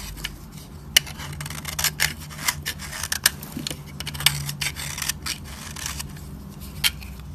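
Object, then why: Bar of soap shaved with a metal blade. A solid, dry, cream-colored piece of soap held in the fingers has its edge shaved with a metal utility-knife blade, producing powdery shavings. Bright, dry rasping and scraping strokes repeat throughout, punctuated by short sharp crackling ticks, over a faint low hum.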